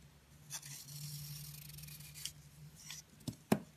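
A red utility knife blade scrapes and carves the dry, crumbly surface of a palm-sized, solid round pink soap block with a blue core, held in the hand. Soft, bright scraping strokes run over a low steady hum, followed by a few short crisp cuts and a sharper crunch near the end.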